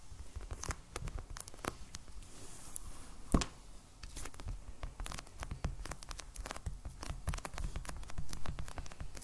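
Fingernails of both hands tap rapidly on a solid, medium black hardcover sketchbook in plastic shrink wrap, lying on a table. The result is a dense, steady patter of short, dry clicks with a dull low thump and a crisp bright edge, with one sharper, louder tap standing out partway through.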